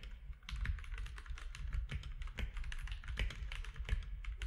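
Both hands type with their fingertips on a compact mechanical keyboard with plastic keycaps. The result is a fast, steady run of short, sharp keystroke clicks with bright ticks on top of a deep, thumpy low end, each stroke dying away almost at once.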